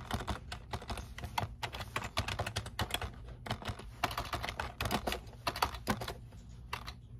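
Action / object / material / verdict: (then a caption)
tap / plastic computer keyboard / plastic / none. Fingertips type continuously on the keys of a black plastic computer keyboard resting on a desk. The result is a rapid, uneven stream of short, dry clicks and taps with a bright top and a soft low rumble underneath.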